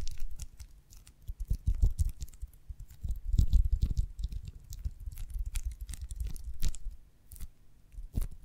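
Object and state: Beeswax honeycomb.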